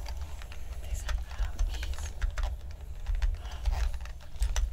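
Two people type with their fingertips on a full-size black plastic mechanical-style keyboard lying flat on a table, repeatedly tapping and pressing its plastic keys. The result is a quick, uneven run of short, dry clicks over a steady low hum.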